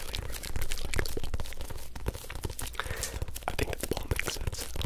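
Fingertips and nails tap and scratch the surface of a small, hollow orange rubber toy football with stickers, held close to the microphones. Quick, irregular taps land as dull, low thuds, mixed with a dry, crinkly scratching texture throughout.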